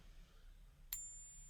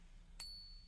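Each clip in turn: First: One sharp, very high ping with thin tones, a copper-nickel coin rather than silver. Second: One bright, high ping rings clean for almost half a second: a genuine silver coin.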